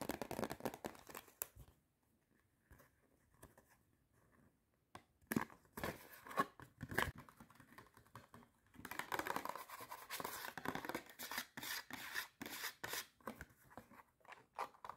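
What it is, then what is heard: Cardboard popcorn box. Long red nails scratch and tap the sides and corners of a small, hollow, empty red-and-white striped paperboard popcorn box. The result is fast, dry, papery scratching and crisp taps with little low end, easing to faint rustles for a few seconds before returning in dense, rapid bursts.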